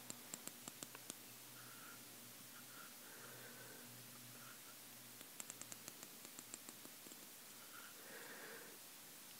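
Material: Ceramic.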